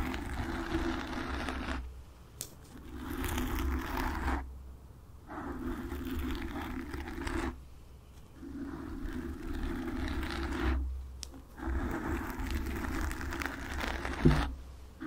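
Long nail tips lightly scratch the sides and top of a black foam microphone windscreen. The result is five bursts of soft, close, rustling scratching separated by brief pauses, over a steady low hum.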